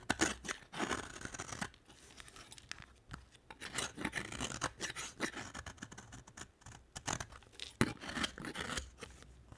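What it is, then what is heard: Dry bar soap being carved. A utility knife blade carves flakes from a solid purple marbled bar of dry soap. Crisp, dry scraping and crackling come in quick bursts with short pauses between strokes, bright and papery with little low end.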